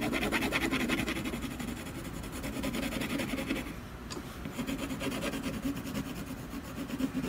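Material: Canvas.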